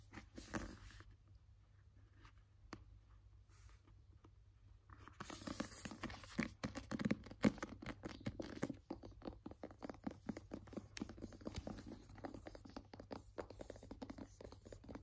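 A paperback novel with a glossy paper cover and a solid block of pages has its cover and spine tapped and scratched with fingernails. After a sparse, quiet opening, a dense run of quick, dry taps and scratchy rasps starts at about five seconds and continues to the end, over a faint steady low hum.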